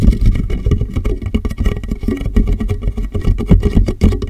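Fingertips tap the top and sides of a large, empty, clear plastic water jug resting upside down on a microphone. The result is a fast, uneven stream of dull, hollow thumps with a deep boom and almost no high end.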